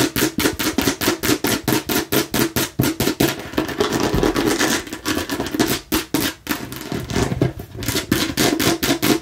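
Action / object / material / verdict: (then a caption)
tap / plastic watermelon-slice bottle / plastic / none. Long nails rapidly tap and scratch the red surface of a hollow plastic watermelon-slice bottle. Quick, irregular clicky taps with a hollow midrange knock alternate with a stretch of continuous, brighter scratching, and each tap fades almost at once.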